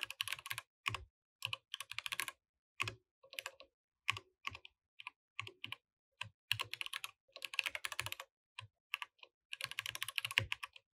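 Fingertips type on a compact mechanical keyboard with plastic keycaps throughout. The sound is quick bursts of sharp, bright clicks with short pauses between runs, a faint low thud under some strokes, and almost no ring after each key.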